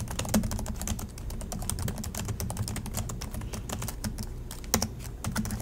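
Both hands type steadily with their fingertips on the black plastic chiclet keys of a silver Acer laptop resting on a desk. Rapid, crisp clicks with bright tops sound over a steady low hum. A few keystrokes land noticeably harder than the rest.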